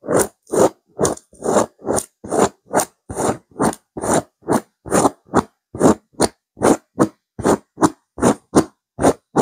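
Both hands with long pink-white nails scratch and rake across a soft, stuffed grey chevron-textured woven pillow. Twenty-one short, dry scratching strokes come at a steady, slightly uneven pace, each a rough, mid-range rasp with a bright hiss on top and silence between strokes.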